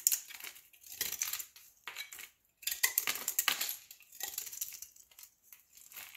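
A utility knife blade shaves slivers off the surface of a large, solid olive-green soap block held in the palm. Quick, dry, crunchy scraping bursts come in clusters separated by short pauses, bright and hissy with almost no low end. Each stroke stops abruptly with no ring.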